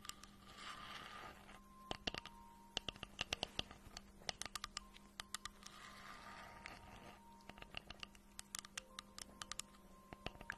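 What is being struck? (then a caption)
Glazed ceramic mug. Long nails tap and scratch rapidly on the surface of a hollow, pink glazed ceramic octopus mug held in the hands. Quick, bright, clicky taps ring off almost instantly, with soft, hissy scratching washes between them. The sound is quiet and set over a faint steady low hum.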